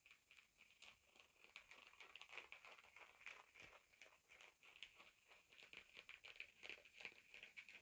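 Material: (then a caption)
Denim. Fingertips and short nails scratch and rub a pair of blue denim jeans lying flat, working around the zipper fly and front of the soft, layered fabric. The result is a quiet, steady run of dry, bright scratching and crinkling strokes with no low end, the strokes coming in an uneven, rapid rhythm.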